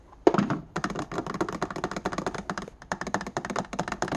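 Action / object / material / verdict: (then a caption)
tap / plastic index card box / plastic / none. Fingertips and nails tap quickly on the clear plastic base and the inside of the white plastic lid of an open, empty index card box resting on a wooden desk. About two dozen short, dry, hollow clicks and taps come in rapid bursts, with a louder thunk at the start and brief pauses between runs. Each tap stops almost at once, with no ring.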